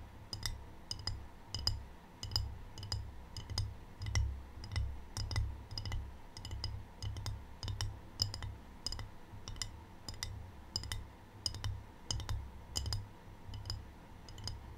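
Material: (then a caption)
Ceramic. Long painted fingernails tap the underside of a small, rigid, empty rectangular ceramic tray with a white glaze and a black triangle print, held upright near the mic. Sharp, bright clicks with short, high glassy ringing come in loose, uneven bursts over a steady low rumble.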